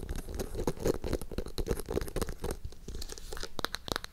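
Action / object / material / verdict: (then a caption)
scrape / hardcover notebook, cardboard cover and paper pages / cardboard, paper / none. Long acrylic nails tap and scratch the page edges and cover of a navy hardcover notebook with a small charm dangling from its binding. Dense, crackly scratching and papery rustling blend with quick dry taps over a warm low body. Toward the end, sharper, brighter clicks stand out before fading quickly.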